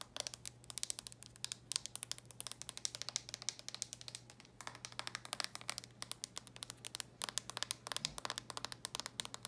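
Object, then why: Plastic handheld game console lid. Long nails tap and scratch quickly across the closed, glossy red plastic lid of a DS handheld game console. The result is a dense stream of sharp, bright clicks with soft scratchy strokes between them, each tick dry and dying away at once, over a faint steady low hum.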